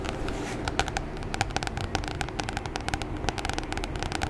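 Long fingernails of both hands tap rapidly on the glossy plastic cover of a solid red A4 Oxford spiral notebook held upright. Each tap is a short, dry click with a bright edge and a hollow tone near 785 Hz, dying away almost at once. The taps run in quick, uneven clusters over a steady low background rumble.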